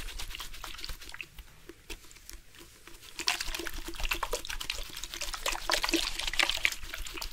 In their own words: Water sounds from purposeful shaking of the drink bottle.